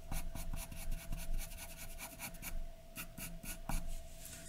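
A graphite pencil is scratched in short hatching strokes across a large white sheet of drawing paper lying flat, drawing hair. Quick, dry, raspy scratches come in a steady rhythm of bright bursts over a low background rumble and a faint steady hum.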